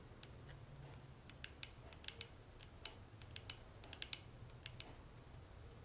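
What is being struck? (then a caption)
Small gold-tone metal cigarette case. Long natural nails tap and scratch the edges and face of a small, closed, hollow gold-tone metal cigarette case with a tortoiseshell-pattern panel, held in the hands. About twenty quiet, sharp, bright clicks come at an uneven pace, each dying away almost instantly, over a faint low hum and soft scratching.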